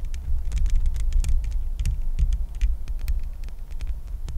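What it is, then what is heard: Metal mesh microphone grille tapped with nails. Long nails tap and scratch the bare, hollow metal mesh grille of a microphone. A deep, throbbing low rumble fills the close-up sound, dotted with rapid, bright clicks and scrapes.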